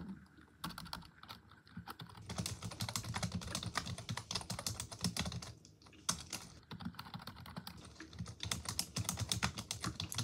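Long pink acrylic nails and fingertips type continuously on the hollow plastic keys of a full-size black desktop keyboard resting on a desk. The rapid tapping makes a dense, bright clatter of short clicks over soft low thumps, with brief lulls near the start and around the six-second mark.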